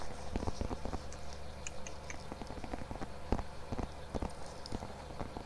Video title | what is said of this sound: ASMR 🐻 Mic Test + Assorted Triggers (Soft Spoken) | The only tapping sound I think I might like more is tapping on my wallet. There's something about that like pillowy kind of material.